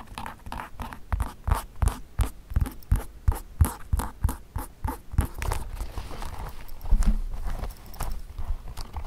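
Fingertips tap on the insoles and toe caps of a hollow, empty pair of black leather Mary Jane shoes with elastic straps, resting on carpet, with some plucking of the straps. The taps are short, dull and low, with almost no ring, falling in a steady rhythm at first and then blurring into quicker, softer patter and light rustling toward the end.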